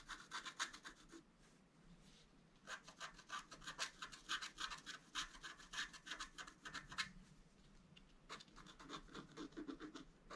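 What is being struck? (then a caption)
Coated scratch art paper board scratched with a wooden stylus. A wooden stylus scratches lines along the right antler drawn on a flat, black-coated scratch art paper board, making quick, dry, bright scratching strokes. The strokes come in irregular bursts with brief quiet pauses between them.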